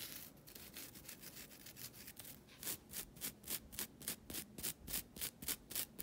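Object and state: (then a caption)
Nylon scouring pad. A flat, thin, solid green nylon scouring pad is rubbed and scratched with long nails and fingertips. It opens with a soft, continuous hiss of rubbing, then shifts to a steady rhythm of bright, raspy scratch strokes, about three to four per second, each ending dry with no ring.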